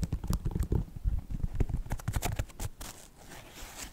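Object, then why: Synthetic leather sneaker upper. Fingertips and nails tap and scratch the synthetic leather upper of a white Nike sneaker near the laces. Quick, irregular dull thuds and short bright clicks come first, then give way to a quieter, softer scratching rustle toward the end.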